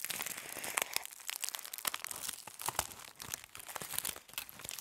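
A crumpled aluminum foil sheet is twisted between the fists and lifted while being crushed. It makes dense, bright crinkling and crackling with sharp snaps and almost no low end. Each crackle stops instantly, with no ring.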